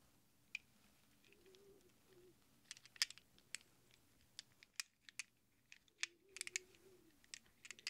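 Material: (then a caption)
Steel. Small hollow chrome-plated steel sockets are held in a cupped palm while fingertips stir them, then the hands close around them and shake them. Bright, sharp metal-on-metal clinks come in irregular bursts and die away almost instantly, over a faint low background hum.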